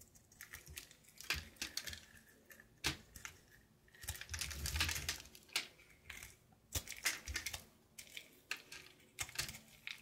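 A knife blade cuts a solid light blue soap bar held in the palm in short scraping strokes, shaving off flakes that fall away. Quiet, crisp, bright scrapes and ticks come in irregular bursts, with a longer rasping stroke near the middle and a faint low rumble underneath.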